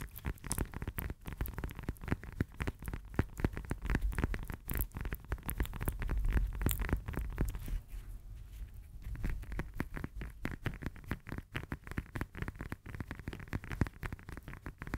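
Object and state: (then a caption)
Fresh lemon. Long nails tap fast on the peel of a whole, solid, fresh lemon held in both hands. The taps are dull, short and low-heavy, with no ring after each one, and they come in a rapid, uneven patter. The tapping eases briefly around the eighth second, then picks back up.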